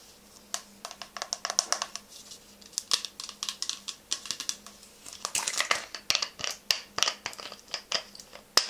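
Long nails tap a clear plastic toner bottle with a paper label and green cap, partly filled with orange liquid and held upright, striking both the body and the cap. The result is a quick, irregular run of short, bright clicks with almost no ring, some landing in dense bursts, over a faint low hum.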